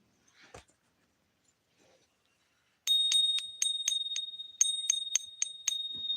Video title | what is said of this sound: 2K Subscribers Thank You Stream | nothing sounds like silver does it that's the Ping test